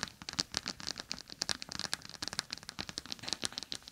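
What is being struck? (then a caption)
Plastic pouch filled with gel beads. A palm-sized clear plastic gel bead eye mask, a pouch filled with small gel beads, lies over the microphone ears while long acrylic nails tap and scratch across its surface. The result is a rapid, uneven stream of crisp, high clicks and crackly scratches with almost no low end and very short decay.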